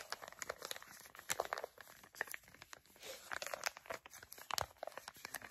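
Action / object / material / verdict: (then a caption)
scrape / filled foil and plastic sachet / foil / none. Long nails crinkle and tap a flat, filled, printed foil and plastic face mask sachet, giving dense, crisp crinkling and sharp little clicks. The sound is bright and brittle with almost no low end, and each tap and crackle dies away at once.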